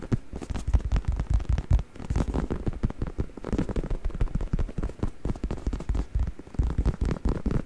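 Fingertips scratch and tap the surface of a black, soft, padded faux leather travel neck pillow held upright by one hand in front of the mic. The result is a dense, continuous run of quick, dull, muffled thumps and soft crackly scratches, heavy in the low end with almost no bright content. Each tap dies away almost instantly.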